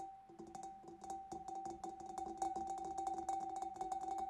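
Fingers and nails tap rapidly on the back and sides of a large, hollow, empty clear glass fish bowl. Quick, light clicking taps with bright edges keep the glass ringing in a steady tone around 780 Hz, with a lower hum beneath it. The tapping grows slightly louder and denser as it goes on.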